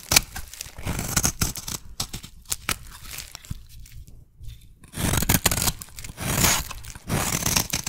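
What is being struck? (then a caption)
Bar of soap cut with a metal blade. A solid teal soap bar is shaved with a metal blade into fine curls. Rapid, bright scraping and crisp cutting strokes crackle throughout, with a sparser, quieter stretch in the middle before a louder, denser run of shaving in the second half.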